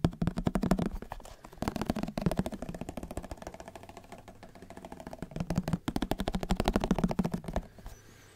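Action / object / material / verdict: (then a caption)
tap / plastic margarine tub / plastic / none. A white plastic margarine tub with a green label is held in one hand while fingertips rapidly tap and scratch on its lid. The result is fast, hollow, low-pitched plastic clicks and thuds in bursts, with softer tapping in the middle and a quiet scratching tail at the end.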